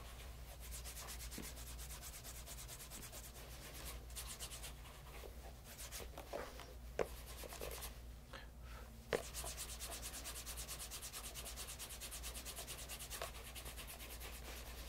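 Cloth-wrapped fingers briskly rub the toe and vamp of a light brown pebble grain leather bespoke casual loafer, held in hand with a shoe tree inside. A steady, fast, bright swishing of rapid strokes runs over a constant low hum, with a couple of sharper taps near the middle.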